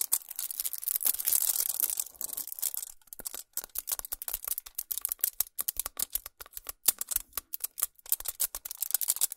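Long nails scratch and tap a solid chocolate bar wrapped in shiny aluminum foil, resting on a towel. The first few seconds are a dense, bright, crinkly scratching, followed by a rapid series of sharp, crisp foil taps with almost no low end.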